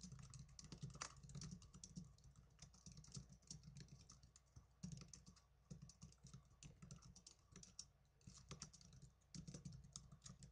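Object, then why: Plastic netbook keyboard. Fingertips with blue nails type on the plastic keys of a small black plastic netbook keyboard, making quick, dry, bright clicks in uneven bursts with brief pauses between them. A steady low hum sits underneath the quiet tapping throughout.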